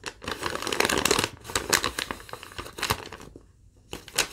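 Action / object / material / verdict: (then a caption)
scrape / thin lined paper sheet / paper / none. A crumpled, thin yellow lined paper sheet is held up while fingertips and long nails crinkle and rub it. Dense, bright crackling and rustling come in quick bursts, ease into a brief near-silent pause, then flare up again at the end.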